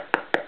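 Two sharp, dry taps on the page edges of a hollowed-out book, which have been brushed with Elmer's white glue that has dried rock hard. Each tap is a brief, bright click centered in the midrange, with almost no low end and very little ring.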